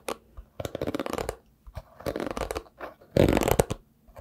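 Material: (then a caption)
Synthetic bristles. A hairbrush with a round wooden back and dense dark synthetic bristles is held in one hand while the fingertips of the other brush and pluck across the bristles. Quick, dry, crackling flicks come in several short bursts separated by brief pauses, with the loudest, densest burst near the end.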